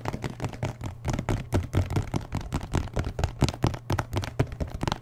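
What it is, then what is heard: Full milk carton tapped. A full-looking 1 L paperboard milk carton with a plastic cap is held in one hand while the fingertips and nails of the other hand tap and scratch its side. Rapid, uneven taps give dull, low thumps with a hollow tone, mixed with faint scratchy ticks. Each hit dies away almost at once, forming a steady patter for about five seconds.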